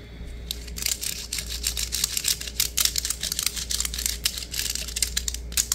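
A green plastic diamond-mesh net sleeve is flattened and stretched between the fingers, then rubbed and scratched with fingertips and nails. This produces a rapid, uneven run of bright, crackly scratching bursts, with a steady low hum underneath.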